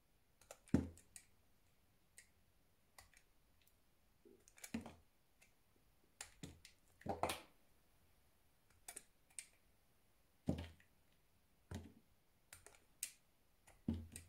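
A solid white square soap bar held in hand has thin slices shaved off with a utility knife. Short, dry crisp clicks and scrapes come in irregular bursts, some with a low thud, over a quiet background.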